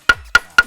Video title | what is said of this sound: Rahasia Dentuman Ala MERIAM LODONG - SECRET STORY (19/05/26) | ini dari bunyinya lebih keras. Lebih nyaring. Lebih tua, lebih nyaring, lebih bagus buat jadi lodong.